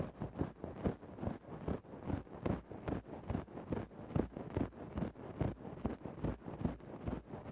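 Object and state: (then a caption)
Synthetic fur microphone windscreen being scratched. A thin wooden stick scratches into a grey faux-fur microphone windscreen, making rapid, uneven scraping strokes at roughly two to three per second. The rustling is muffled and heavy in the low end, with almost no bright treble. Each stroke dies away almost instantly.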